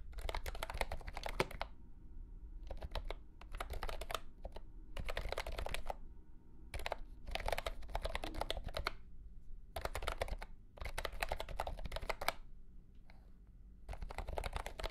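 A mint-green retro plastic mechanical keyboard with round plastic keycaps in a hollow plastic case is typed on with the fingertips of both hands. Bursts of quick, clicky keystrokes with a hollow, low-heavy body and bright click edges come in rapid runs separated by short pauses, each stroke dying away almost instantly.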